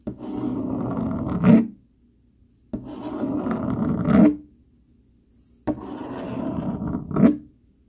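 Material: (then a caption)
Cardboard. A dark plastic fork scratches and rubs across a flat brown cardboard sheet in three long strokes. Each stroke is a steady, dull, low rasp that swells into a louder scrape at its end, with short silent pauses between strokes.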